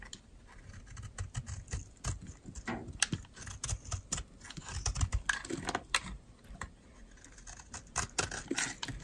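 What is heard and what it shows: A metal utility knife blade scrapes and shaves dry flakes off the edge of a solid yellow oval bar of dry soap held in the palm. The result is a rapid, irregular series of short, crisp scraping and crackling strokes with bright, gritty detail over soft low thuds.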